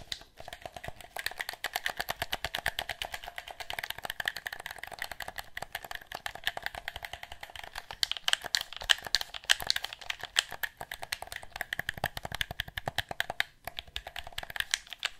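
Fingers repeatedly click the buttons of a black plastic handheld game controller with a hollow shell. The result is a fast, steady stream of short, dry plastic clicks with no ringing, lasting about fifteen seconds. The clicks carry bright, clacky tones around 700 Hz and 2 kHz and grow slightly louder in the middle.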